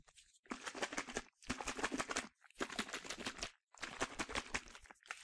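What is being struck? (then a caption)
Plastic spray bottle with liquid. A medium yellow plastic sunscreen spray bottle with a translucent cap, hollow and partly filled with liquid, is shaken back and forth by hand. It gives four bursts of rapid, bright, crinkly sloshing and rattling noise, separated by brief silences, with little low end.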